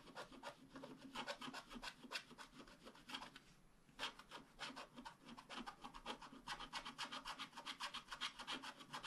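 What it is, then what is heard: Scratch-art paper being scratched. A wooden stylus scratches rapid strokes across the coating of a flat, black-coated scratch-art card, making a steady run of dry, bright rasping scrapes. The strokes briefly thin out and pause just before the midpoint, then pick back up and grow denser toward the end.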